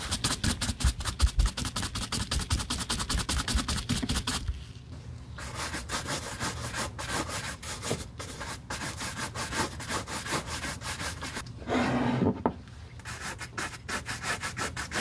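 A gloved hand holds a single empty black smooth-leather Christian Louboutin peep-toe platform high heel with a red sole while a wooden-backed horsehair brush buffs quickly across the leather upper. Rapid, brushy rubbing strokes follow one another in dense bursts, with a brief quieter pause near the start and a louder, fuller swipe near the end. A steady low undertone sits beneath the strokes, and faint background music may be layered in.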